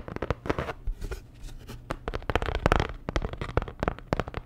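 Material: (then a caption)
Cardboard. A flat, postcard-sized printed cardboard Dior packaging card with a star design is held in the hand and tapped and scratched with long nails. Quick, dry taps land in an irregular stream, mixed with rough scratching and papery rustle. Each tap dies away almost instantly, leaving a close, dull, low-heavy sound.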